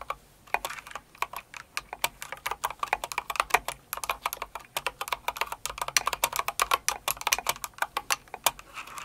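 Steady typing on a full-size light blue and pink Cinnamoroll mechanical keyboard with plastic keycaps, struck with long acrylic nails and the fingertips of both hands. Quick, bright plastic clicks and clacks patter in an irregular, dense stream with very short decay.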